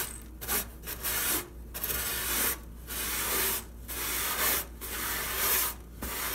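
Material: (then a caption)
Wood. A hand wipes and rubs the bottom of an empty oak-look wooden dresser drawer with a cream cloth, with a few loose sequins on the drawer floor. The result is a series of dry, bright, scratchy rubbing strokes with short quiet gaps between them, at a soft, steady level.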